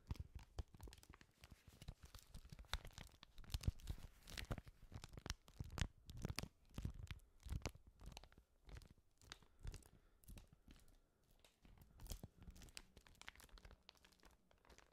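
A thin, flat, empty sheet of white paper, roughly A5 size, is held in both white-gloved hands close to a microphone and flexed, rubbed and crinkled with the fingertips. Quiet, dense crackles and crisp tearing-like crinkles come in rapid, uneven bursts over a soft low rumble, each snap dying away almost instantly.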